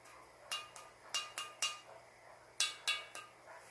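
A Tang sancai glazed earthenware ceramic piece is tapped eight times in two quick runs, each tap giving a short, bright clink with a faint high ring that fades quickly. The tone is somewhat clear rather than dull, pointing to a harder, porcelain-like clay body.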